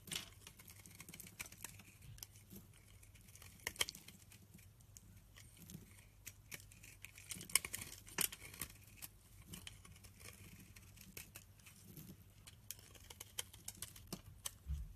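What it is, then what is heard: Soap bar being cut. A utility knife blade cuts and scrapes curled shavings off the edge of a solid green oval bar of rancid soap. Quiet, crisp scraping and slicing sounds come in many short, bright clicks and crackles over a steady low hum, with a few sharper cuts standing out.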